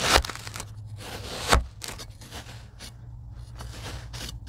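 A rocker blade slices lines into a tray of kinetic sand, giving soft crunchy, crumbling cuts with brief bright scraping bursts over a low background hum. The two strongest cuts stand out near the start and at about one and a half seconds, followed by quieter, irregular slicing textures.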